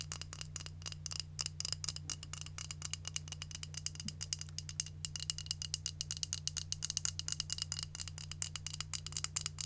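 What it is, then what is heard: Plastic hair curling iron, tapped. Long nails rapidly tap and scratch along the barrel and handle of a long, hollow, white and pink automatic hair curler with a plastic body. The result is a dense stream of bright, dry clicks and scratchy rasps over a steady low hum.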